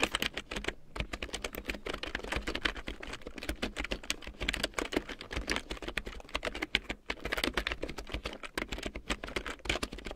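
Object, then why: Plastic computer keyboard. A black plastic large-print computer keyboard with large yellow plastic keycaps printed in black, lying on a fur rug, is typed on with fingertips and long painted nails. A steady stream of quick, bright plastic clicks and taps runs throughout, each keystroke dying away almost instantly, with brief lulls near the one-second and seven-second marks.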